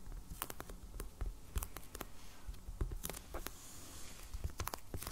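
Fingernails of both hands tap rapidly on a medium, solid black hardcover sketchbook still in plastic shrink wrap, lying on a table. The taps come as quick, uneven, quiet clicks, each with a bright crinkly tick from the plastic over a soft, dull low thump from the cover, and they die away instantly with no ring.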